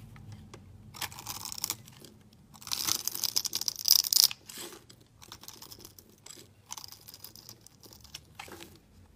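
A solid, translucent green glycerin soap bar held in the hand is shaved with a metal utility blade. It makes bright, crisp scraping and crunching strokes in irregular bursts, with the longest and loudest shave near the middle, and almost no low end.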